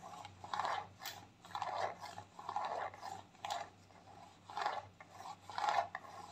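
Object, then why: Squeezable plastic cosmetic tube. Long nails scratch and tap a white squeezable plastic tube of clay mask that is partly full. The result is quiet, dry rasping and scraping bursts, centered in the midrange with brighter edges, coming in irregular strokes about once a second.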